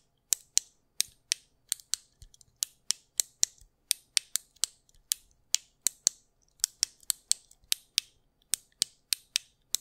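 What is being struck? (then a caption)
Plastic fidget cube. A small, solid white plastic anti-stress fidget cube is held in one hand close to the microphone while fingertips press and click its buttons and switches. About 29 sharp, bright, dry clicks come in an uneven rhythm over nearly ten seconds, each cutting off almost instantly with no low-end body.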